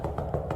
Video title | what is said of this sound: 해운대 SH타워 오피스텔마루교체 부분변색 교체하기 상황설명포함#마루보수 #셀프인테리어 #강화마루 #마루들뜸 #원목마루 | 둔탁한 소리가 본드가 잘 붙은 소리입니다